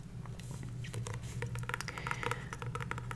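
Long nails tap and scratch the glossy card cover of a paperback copy of *The Power of Now*, held upright in one hand over its solid stack of paper pages. A continuous patter of soft, crisp clicks and light scrapes runs over a steady low hum.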